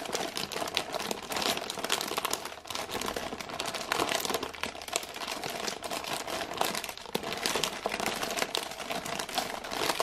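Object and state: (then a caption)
Plastic-wrapped biscuit package. A full package of ginger thins in printed plastic film wrap is held in both hands and scratched and squeezed with long painted nails. This makes continuous, dense crinkling with many sharp, bright clicks and little low end.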